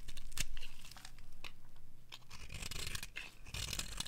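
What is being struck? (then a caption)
Bar of soap scraped with a metal blade. A metal blade scrapes along the side of a dry, bright green bar of soap, shaving off curls that fall away. The result is a series of crisp, dry, tearing scrapes with bright crackly edges over a low, steady rumble.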